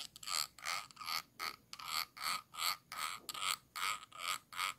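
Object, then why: Glass jar. A thin stick tool with a metal ferrule scratches back and forth across the ridged bottom rim of a small, round, clear glass jar held upside down and hollow. It makes a steady run of short, bright, raspy scraping strokes with a light ridged texture, each stroke swelling and fading with almost no ring afterward.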